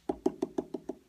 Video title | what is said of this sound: Trimming | Hollow sound that means that it's nice and thin